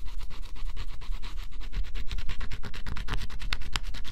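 A stylus held in the fingers scratches the black coating off a flat, thin coated cardboard scratch-off jigsaw puzzle. Quick, dry, rasping strokes repeat at roughly three per second, each a short bright scrape over a low, soft rumble.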